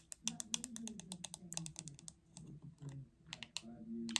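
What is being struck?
Plastic paddle hairbrush.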